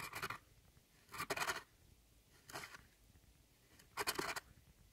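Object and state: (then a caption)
Pressed powder eyeshadow scraped. A metal tool scratches across a glittery pressed powder pan in an eyeshadow palette, breaking it into crumbly chunks. Four bright, gritty scraping passes are heard, each with a crackly, crumbling texture, separated by short quiet gaps.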